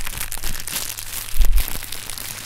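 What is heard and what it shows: Hands knead and squeeze a cluster of inflated, hollow, clear polyethylene air-cushion packing pillows with green print, producing a continuous bright crinkling and crackling of plastic. Heavy low thumps come through underneath, and the handling swells into a louder, denser crunch around the middle before settling back to steady crinkling.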